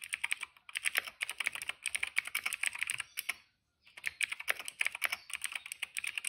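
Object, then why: Plastic mechanical keyboard. Fingertips type fast on a cream plastic retro mechanical keyboard with plastic keycaps and a hollow case. Rapid, bright, clacky keystrokes come in quick bursts, with a brief pause just past the midpoint. Each click cuts off almost instantly with no low-end thump.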